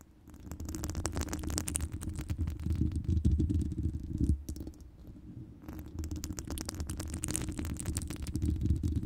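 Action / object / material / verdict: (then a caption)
scrape / woven metal wire microphone grille / metal mesh / none. Long pointed nails scratch and tap across the hollow, round woven metal wire grille of a large microphone with both hands, producing a dense, irregular rustling and clicking. The sound is dominated by a deep, boomy rumble with faint bright scratchy edges. It quiets briefly midway before building again.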